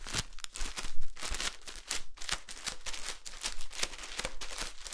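A solid, rectangular green floral foam brick in clear plastic wrap is held up and squeezed, so the fingers crinkle and rub the wrapper. The result is a quick, continuous run of bright, crackly crinkles and rubbing bursts over a steady low hum.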